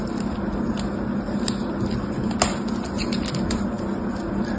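A palm-sized, solid red dried clay block is held in one hand while the other, with long red nails, carves and scrapes it with a dark craft-knife blade, cracking off flakes. Scattered sharp, bright crackles and clicks rise over a steady low rumble, with one louder snap standing out partway through.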